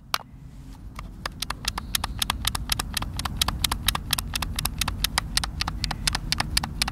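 Thumbs and fingers repeatedly press and tap the buttons of a hand-sized, hollow white plastic Xbox controller, producing dozens of sharp, bright clicks at an uneven pace of about four per second. Each click is short and dry, with almost no ring, over a steady low rumble.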